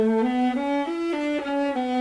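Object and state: Nothing is struck.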